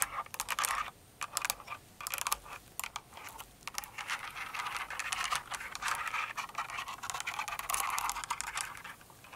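A full-size plastic mechanical keyboard with plastic keycaps resting on a rug is typed and tapped with long nails and fingertips. Dense, bright, clicky keystrokes come in quick bursts and runs with short pauses between, centered in the mid-high range with almost no low end.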